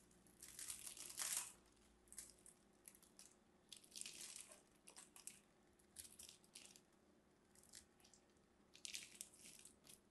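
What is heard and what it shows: A solid purple embossed bar of soap is held in the hand while long red nails and fingertips crumble scored cubes off its surface. The result is a series of dry, bright crunching and scratching bursts, some louder than others, with quiet gaps between them.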